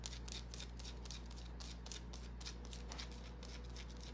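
A small, solid white bar of soap held in the palm is scratched with long nails, making quick, dry, bright scratching strokes. The strokes come in short bursts over a steady low hum, and the overall sound is quiet.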